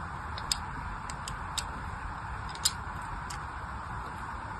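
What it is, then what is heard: Bar of soap being scored with a blade. A small thin blade scores shallow lines across the surface of a solid, hand-sized orange bar of soap held in one hand with long white nails. Soft, bright scratching ticks sound over a steady low hiss, with three sharper clicks standing out from the rest.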